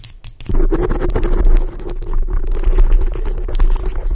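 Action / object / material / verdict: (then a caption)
scrape / foam microphone windscreen / foam / none. Long acrylic nails quickly scratch the top of a black foam microphone windscreen. A dense, rapid scratching rumble, heavy in the low end, starts after a brief quiet opening and continues steadily to the end.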